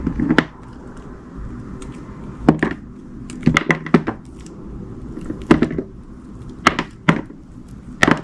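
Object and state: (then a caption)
Glycerin soap bar being sliced. A solid, translucent blue glycerin soap bar, held in the hand, is sliced with a utility knife. Short, crisp cutting sounds with bright tops come in quick bursts and small clusters over a low, steady background hiss.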